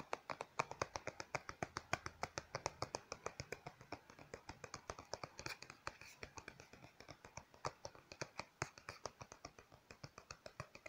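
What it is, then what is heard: Plastic lotion bottle tapped with fingernails. A small, hollow white plastic lotion bottle, likely partly full, is held in one hand and tapped and scratched with long painted fingernails. A steady run of dozens of sharp, dry clicks with no ring is heard, centered around 900 Hz, with a faint scratchy texture between the taps.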